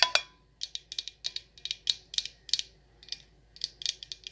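Long nails tap the glass sides of a Rose Water & Ivy glass jar candle that has a black lid and is full of wax. About twenty quick, bright clicks come in irregular bursts, with a short pause after the first two. Each tap is sharp and high-pitched, dying away almost at once.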